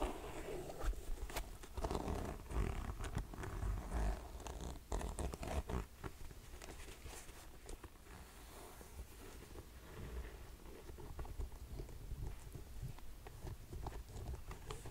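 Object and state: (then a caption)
Suede ankle boot, tapped and scratched. Fingertips and nails tap and scratch the suede shaft and sides of an empty grey suede ankle boot. Soft, dull taps with a low, muffled body mix with dry, brushy scratching in an irregular rhythm, staying quiet throughout with brief sharper clicks.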